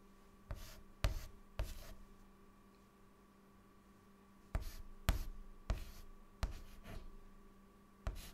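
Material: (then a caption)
Chalk. A hand scribbles and writes with a white chalk stick on a large, flat, dark, solid chalkboard. Eight sharp, bright scratching strokes are heard, three close together, then a quiet pause, then five more, over a steady low hum.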